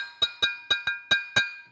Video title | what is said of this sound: MEDITERRANEO – les azuleros, carreaux de céramique décorés, restent un des symboles du Portugal | argile naturelle cuite à 1050 degrés le son est métallique c'est un bon carreau